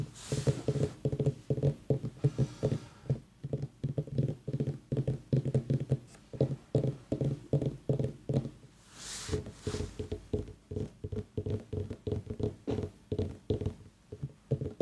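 A pumpkin is tapped in quick, uneven runs of short, dull, hollow knocks, about 50 in all, each with a low tone and almost no ring. The sound is mostly low and woody, with a faint soft brushing hiss between some of the taps.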